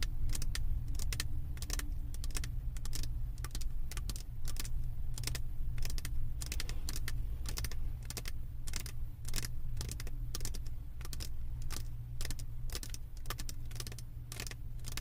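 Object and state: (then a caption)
Resin diamond painting canvas. Long acrylic nail tips tap quickly on the resin drills of a flat diamond painting on a canvas board, making a rapid, irregular stream of sharp, bright clicks. A steady low hum runs underneath the whole time.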